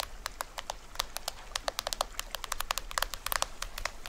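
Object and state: Plastic toy drum head, scratched and tapped.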